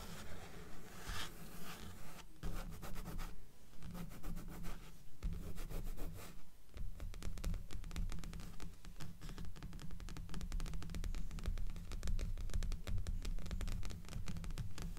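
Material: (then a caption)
Paper. Long manicured nails on both hands rub and scratch the glossy cover of a dark-covered, solid-paper paperback resting on top of a stack of books. A steady run of quick, dry scratching strokes comes through, each short and sharp, over a dull, low-heavy body.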